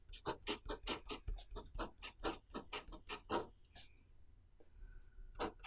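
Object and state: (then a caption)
Pen writing on a paper notebook page. A pen writes characters on the page of an open paper notebook resting on a desk, while the other hand holds the page down. A quick run of short, dry scratching strokes rasps across the paper with bright, papery texture, then eases into a quiet stretch with a faint steady tone before one last stroke.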